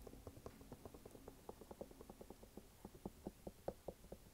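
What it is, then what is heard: Canvas sneaker with rubber sole. An empty red canvas sneaker with a white rubber sidewall is held sideways while fingertips tap and scratch its canvas upper and rubber sidewall. Soft, dull, quick taps come in an uneven patter over a faint scratchy rustle, each tap dying away almost at once. The sound stays muffled and low-mid, with little brightness.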